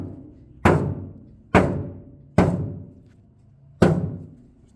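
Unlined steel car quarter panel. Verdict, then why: Hollow. Four knocks on the inside of a bare, unlined steel quarter panel of a 1968 Mustang, tested before any Raptor/rhino lining is applied. Each knock is a low, hollow thunk with a short resonant ring that decays over about a second. The panel sounds hollow.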